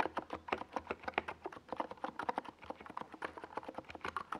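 Rapid typing with the fingertips of both hands on a compact 68-key NiZ Plum Atom 68 mechanical keyboard with a white plastic, hollow-bodied case and purple and yellow Domikey Gas Attack SA plastic keycaps, resting on a desk pad. About 30 quick, dry keystrokes land in an uneven, flowing rhythm, each a short mid-pitched clack centred near 880 Hz that stops almost at once with no lingering ring.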